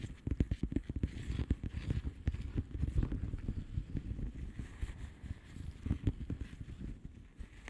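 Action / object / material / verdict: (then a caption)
tap / plastic bubble wrap envelope / plastic / none. Long manicured nails of both hands tap and scratch a flat blue plastic bubble wrap mailer envelope with air-filled bubbles. Quick, dull, low-pitched taps come in irregular bursts over a soft, crackly scratching texture. Each tap dies away almost at once.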